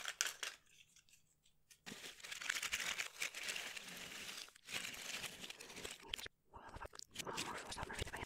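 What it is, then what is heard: Cardboard jigsaw puzzle pieces. Hands spread a heap of small, thin, solid cardboard jigsaw puzzle pieces across a red cloth, dropping them with fingertips and nails so the pieces clatter against each other. The result is a bright, dense, crinkly clatter and rustle with little low end, broken by a quiet stretch near the start and two brief pauses later on.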